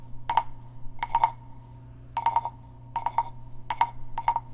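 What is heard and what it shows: A small hollow carved wooden frog guiro is scratched with fingernails, then tapped with a wooden stick. This gives six short bursts of quick, clustered clicks with a hollow, woody tone around 900 Hz that dies away almost at once. A steady low hum runs underneath throughout.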